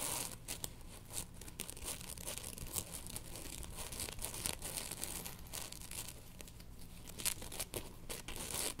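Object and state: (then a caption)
Synthetic cooling towel. A blue synthetic cooling towel, stretched between the hands and then rolled flat on the lap, is scratched and rubbed with long nails. The result is a steady run of quick, bright, papery scratches and crinkling strokes over a soft low rumble, with sharper rasps standing out here and there.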